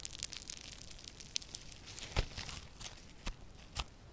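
A yellow lump of solid, crunchy foam slime with a foam-bead texture is squeezed and kneaded by both hands with long purple nails. It gives a steady, quiet stream of bright crackling and popping, with a few louder, sharper crunches standing out, including a fuller one midway through.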